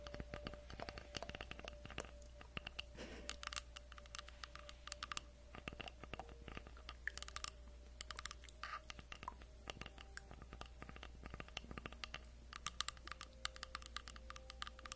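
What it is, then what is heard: Wooden log slice. Long acrylic nails tap rapidly on the surface of a solid round tree log slice with a bark edge, about 20 cm across, held in both hands. The result is a quiet, dense stream of short, dry, bright clicks that stop at once with no ring, over a steady low hum.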